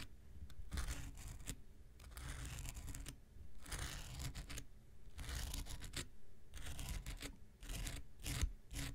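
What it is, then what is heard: Foam nail buffer block scratched with a knife tip. The tip of an X-Acto knife scratches across a small, solid, rectangular pink foam nail buffer block. The result is repeated bursts of dry, raspy scraping with a bright, papery texture over a steady low rumble, separated by brief quiet pauses.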